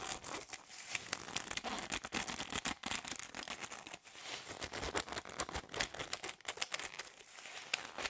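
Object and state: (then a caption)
Plastic drinking straws. A bundle of hollow plastic drinking straws is held in the hands while fingers and nails rub and flick the ends. The result is a dense, steady stream of bright, dry crinkling and sharp clicking taps with almost no low end and no ring after each tap.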